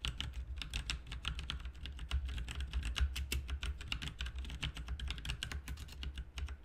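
Both hands type with their fingertips on a full-size, backlit plastic mechanical RGB keyboard with plastic keycaps. A quick, steady stream of short, bright clicks and clacks runs throughout over a constant low hum.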